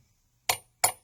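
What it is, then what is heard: Hollow metal knife handle. A hollow metal silverware knife handle is tapped twice on metal. Each tap gives a bright, high clink that dies away quickly. The ring marks the handle as hollow.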